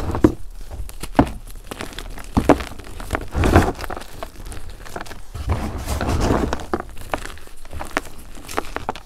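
Hands crumble pink chunks of a dried gym chalk and cornstarch mudpie between their fingers in a container, rubbing the pieces down to powder. Soft, dry crunches and gritty crackles run throughout, with a few sharper snaps standing out as chunks break. Between them come longer, muffled grinding rubs as the material turns powdery.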